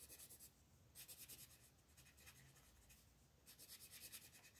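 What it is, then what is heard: Colored pencil shading a paper page. An orange colored pencil shades a large area of a flat paper coloring book page with rubbing strokes. Quiet, bright, scratchy back-and-forth strokes come in rapid bursts at the start, around the one-second mark and near the end, with softer, steadier rubbing between them.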